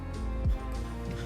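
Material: Nothing is struck.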